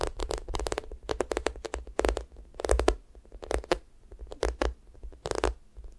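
Long nails scratch and fingertips press and drag over the sticky top of a yellow, sticky-coated squishy toast made of solid soft foam. Quick runs of crackly, tacky peeling and scratching sounds come in bursts with brief pauses, bright at the edges over a soft low rumble from pressing.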